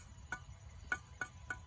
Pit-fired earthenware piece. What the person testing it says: it has that kind of ring to it so I'd say overall it's a success